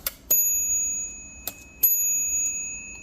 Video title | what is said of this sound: Comptometer Model H Rebuild -- Disassembly (Part 2) | you can hear the bell ring